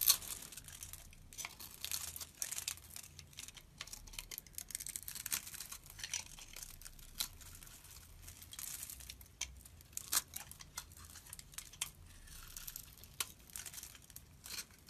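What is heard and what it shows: A utility blade scrapes small cubes off a solid translucent yellow soap bar held in the hand. The result is a quiet, steady run of crisp, bright scraping and crinkly crackles, with sharper cuts standing out now and then. Each cut dies away almost at once.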